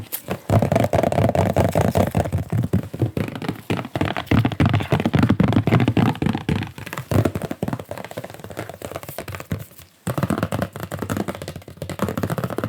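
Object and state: Stretched art canvas.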